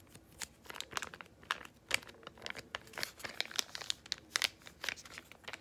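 A small yellow Freeman laminated foil-plastic face mask sachet, likely filled, is crinkled and squeezed with fingertips and long nails. Dense, bright crinkling and crackling arrive in many quick bursts with almost no low end.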